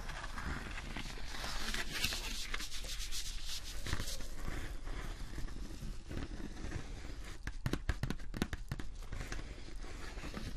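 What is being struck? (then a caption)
Thin textured vinyl sheet. A thin, textured holographic vinyl sheet is flexed, scratched and rubbed with fingertips and nails, producing steady crinkly rustling and scraping. Near the end, a run of sharp, bright clicks and taps cuts through the soft scratching.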